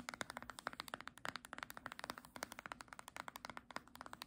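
Long nails tap rapidly on the spine of a small green hardcover book held sideways. Around forty quick, crisp, dry clicks follow one another with almost no ring, each sharp and bright with little low end.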